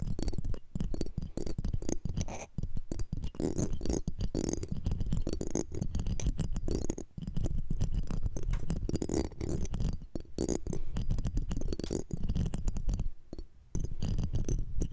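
Tweezers and a metal pick scrape across the metal mesh grille of a small cylindrical microphone, the left mic. The result is a dense, close, crackling scratch, heavy in low rumble with faint bright glints. It runs almost continuously, with brief quieter dips around 7, 10 and 13.5 seconds.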